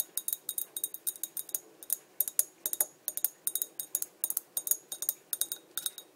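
Long dark nails tap the body of a small, empty, clear embossed Coca-Cola glass bottle held upright, making 33 quick, bright glassy clinks in an uneven rhythm. Each tap is a short, high tick that dies away almost instantly, with no low end.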